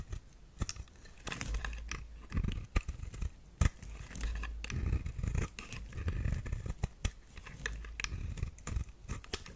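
A metal blade shaves thin curls off the face of a solid pink flower-shaped bar of soap held in the hand. Soft scraping and cutting strokes alternate with sharp little clicks and ticks over a low, muffled rumble.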